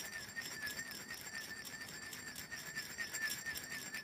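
Long fingernails tap the top and shoulder of a small, hollow black glass perfume bottle with liquid inside, held up close. The result is quick, clinking glass taps that ring with a bright tone near 1.7 kHz over a soft, hissy background.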